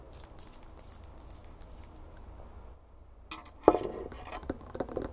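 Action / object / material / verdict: tap / glass drinking tumbler with ice water / glass / none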